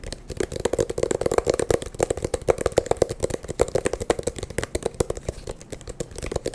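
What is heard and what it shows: An eyeglass case is tapped quickly and continuously, giving a dense stream of short, dry, clicky taps with a mid-pitched body around 500 Hz and almost no ring after each hit.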